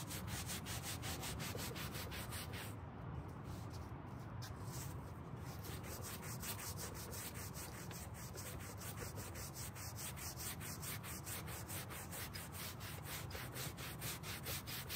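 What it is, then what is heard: Carpet car floor mat being scrubbed. A gloved hand scrubs a dirty, dark grey carpet car floor mat lying on a white folding table with a green-bristled hand brush. Steady, rapid back-and-forth brushing strokes keep up a continuous rubbing swish, with a low rumble underneath and a bright, scratchy bristle hiss on top.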